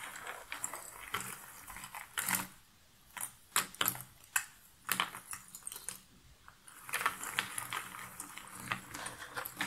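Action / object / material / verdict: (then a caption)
scrape / cardboard jigsaw puzzle pieces in a box lid / cardboard / none. Fingertips stir and scratch through a pile of cardboard jigsaw puzzle pieces in a box lid, making bright, dry rustling and crisp clicking scratches. Louder bursts of shuffling alternate with brief quieter pauses, then the rustling picks up again toward the end.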